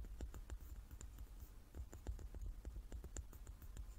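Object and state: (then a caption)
Large wooden die. Long nails tap the faces of a hand-sized, solid, light wooden die with dark pips, held in both hands. The result is a quick, quiet run of short, dry clicks with bright edges over a steady low hum. Each tap dies away almost at once.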